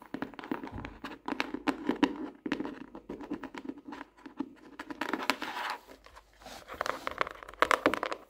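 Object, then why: Hardcover notebook, cardboard cover and paper. Long nails tap and scratch the front cover of a closed pink hardcover notebook, then tap along the page edges and spine side. Quick, dry clicking taps come in dense bursts with a few pauses, mixed with soft scratching over a mid-range body and brief bright edges on the sharper taps.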